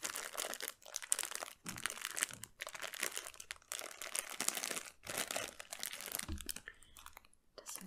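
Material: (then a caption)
Cellophane. A small clear plastic cellophane bag tied at the top and filled with colorful candies is held in both hands and crinkled and squeezed with the fingertips. It makes dense, bright crackling and crinkling in repeated bursts separated by brief near-silent pauses, with very little low end and no lingering ring.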